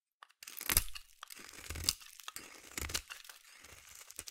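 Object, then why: Bar of soap. A solid orange bar of soap is shaved with a metal blade in a scraping action, and crunchy curls fall away. Bright, crackling scrapes come in uneven bursts, each with a low thud underneath, and there are quiet gaps between them.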